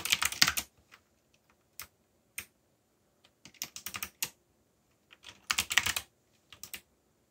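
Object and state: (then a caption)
Mechanical keyboard with plastic keycaps. Fingertips, one finger bandaged, type quickly on a full-size backlit mechanical keyboard with black plastic keycaps, yellow backlight and Korean/English legends. Bursts of sharp, bright key clicks come in clusters separated by pauses and single isolated taps, each click dry and short with almost no ring.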